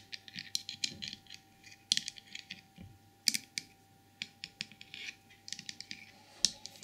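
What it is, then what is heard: Porcelain trinket box tapped and scratched with nails. Long purple nails tap and scratch the glazed body and head of a small glossy white porcelain elephant trinket box. The result is irregular, bright, crisp clicks and scratchy rasps that stop instantly with no ring, over a faint, steady, low-level tone.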